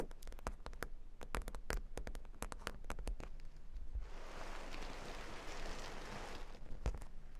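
A square cork board covered with plastic faux-pearl beads is tapped and scratched by long nails. First comes a quick run of sharp, bright clicks, then a steady hissy scratching wash from about four to six and a half seconds, and the clip ends with a few more taps.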